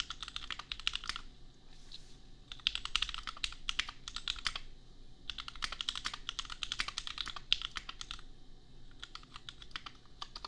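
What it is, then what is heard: Mechanical keyboard typing. Fingertips of both hands type on a compact custom $250 mechanical keyboard with red/pink plastic keycaps and Gateron Milky Yellow switches. Rapid, bright, short clacks centered around 3 kHz come in bursts, with brief pauses near 2, 5 and 8.5 seconds. A faint low hum sits underneath.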